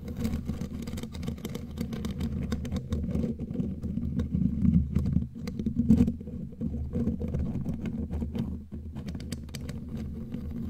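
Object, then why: Metal mesh microphone grille. Long, pointed, glitter-covered claw nails tap and knock on the hollow metal mesh head of a bare black microphone, with hands cupped close around the grille. The result is a dense, continuous stream of boomy low thumps and muffled rumble, scattered with quick, sharp clicks. It swells loudest in the middle before settling back to a steady patter.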